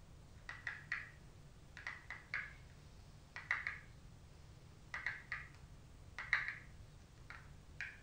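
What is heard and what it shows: Long stiletto acrylic nails tap the front cover of a gold-finished rigid cardboard Glow Kit makeup palette held in both hands. About eighteen quick, hollow clicks come in small clusters of two or three, each centred near 1.9 kHz with a brief bright edge. Each click fades within about a tenth of a second over a quiet background.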